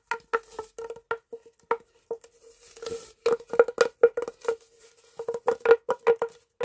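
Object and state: Plastic pop tube.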